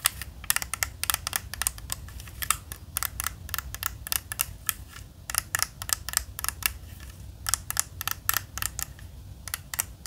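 A hand-sized, standard 3x3 plastic Rubik's cube is held in both hands while fingers twist its layers. Rapid, irregular bright clicks and plastic rattling fill the clip, each snap short and dry over a faint low hum.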